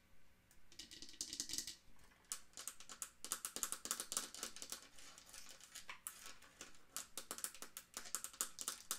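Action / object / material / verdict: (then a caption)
tap / wooden mantel clock case / wood / none. A small dark wooden mantel clock with a brass-rimmed face, ball feet and a hollow case is held and then set down while long acrylic nails tap and scratch its wooden sides. The result is quiet, rapid, bright clicking and scratching in quick bursts, with a soft low rumble beneath and very little ring after each tap.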